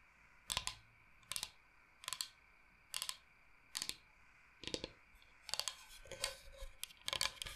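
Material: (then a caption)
Bamboo. A large, flat, solid bamboo cutting board shaped like Michigan is tapped with long painted nails as the board is moved toward the camera. Short, bright, dry clicking taps come in evenly spaced bursts at first, then grow quicker and denser toward the end. Each tap dies away almost instantly over a quiet background.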